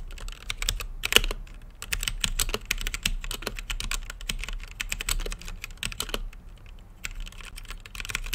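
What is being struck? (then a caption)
Mechanical keyboard with plastic keycaps and acrylic case. Fingertips type steadily on an RGB-lit mechanical keyboard with plastic keycaps and a clear acrylic case. Rapid, sharp key presses rise as bright, clacky clicks over a faint low hum, each stopping almost instantly. The pace is dense and uneven, with a brief lull near the end before typing resumes.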